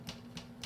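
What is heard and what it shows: Three soft, dull taps on the crust of a sourdough loaf baked earlier, its soft crust giving a muted thud with a brief bright click on each. The crust sounds soft compared with a freshly baked loaf.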